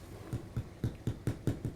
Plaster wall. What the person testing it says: there is quite a bit of looseness behind some of this. You can hear it as I tap on it